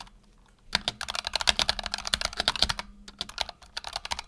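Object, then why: Mechanical keyboard with PBT plastic keycaps. Fingertips type on a black tenkeyless Razer Huntsman Tournament Edition mechanical keyboard with PBT plastic keycaps and optical switches, resting on a desk mat. After a brief quiet start, a rapid, steady run of short, bright, clacky keystrokes follows, each dying away almost instantly.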